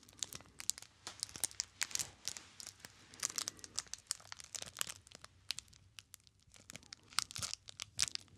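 Fingertips squeeze and rub the clear plastic film wrapper of a small solid bar of soap with a paper label, held close to the microphone. Dense, bright crinkling and sharp little crackles come in quick irregular bursts for about eight seconds, with almost no low end and no ring after each snap.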